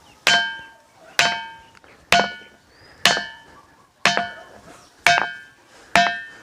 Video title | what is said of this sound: एक ऐसा मंदिर जिसमे पत्थरों में से आती है घंटे की आवाज - काकुन प्राचीन मंदिर - बुंदेलखंड वीडियो | देखो दोस्तों यह है तो पत्थर लेकिन इसमें हम ठोकते हैं तो धातु की आवाज आती है